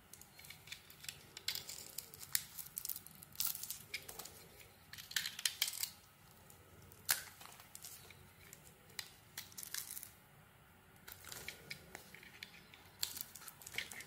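A snap-off utility blade carves and scrapes shavings from a solid white bar of soap with a black glitter coating on its edges, held in the hand. Quiet, bright, crisp scraping and crackly cutting sounds come in irregular bursts separated by short pauses, each stroke dying away almost instantly.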